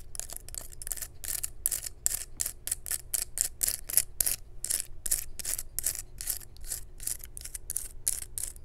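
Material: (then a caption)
Wood. A dry, natural pine cone held in the hand has its scales scratched and tapped with long nails. The result is a rapid, steady series of short, bright, crisp scratching and clicking bursts, mostly high in pitch, over a faint low hum.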